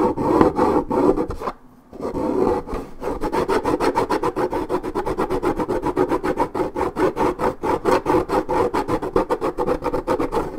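Long red nails scratch deeply across a hollow 1.75 L coated paperboard orange juice carton, peeling its print. Rapid, steady raspy strokes, about four per second, carry a hollow mid-range scrape. There is a short pause near the two-second mark before the scratching resumes.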